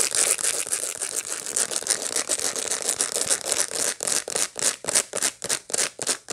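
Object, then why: Dried sunflower head with seeds. Long light-blue nails scratch over the seeds of a dried sunflower head held in the hands. A dense, bright, dry scratching rustle runs continuously at first, then breaks into distinct, rhythmic scraping strokes about three per second, with no low end.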